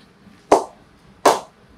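A willow cricket bat, a Shoaib Malik SM18 model, is struck twice with an old cricket ball in a ping test. Each strike gives a sharp, bright crack with a short ring. The bat performs really well, with good ping at the bottom, top and middle.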